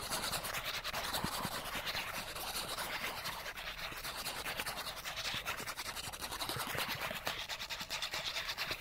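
A small, thin, flat die-cut cardboard character card is scratched quickly with fingernails along its edge and across its surface. The result is a dense, continuous, bright scratchy rasp with rapid strokes, mostly in the high range and with little low end.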